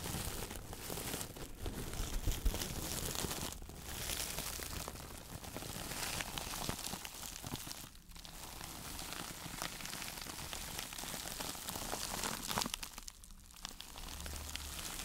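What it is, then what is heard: Sisal mesh sponge. A hand-sized woven sisal fiber mesh sponge, held in both hands, is squeezed and scratched with long nails. It makes a steady, dense crinkling and scratchy rustle of dry fibers with a low background rumble and a few brief pauses.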